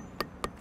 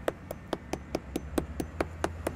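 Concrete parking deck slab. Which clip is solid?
The first.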